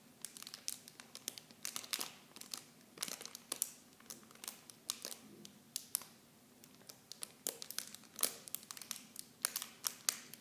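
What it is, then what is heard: Plastic film packaging. Clear plastic film packaging around small Nivea bottles is crinkled and squeezed with fingertips and long blue nails. Dense, bright crackles and snaps come in irregular bursts, each dying out almost at once, with very little low end.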